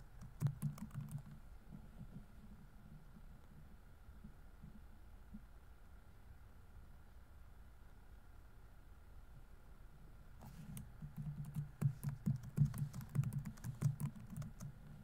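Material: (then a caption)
Plastic. Fingertips rapidly tap the plastic keys of a laptop keyboard on a grey laptop body, producing soft, low, muffled clicks. A short burst of typing opens the clip, then a quiet stretch with a faint steady hum, before a denser flurry of irregular key taps returns near the end.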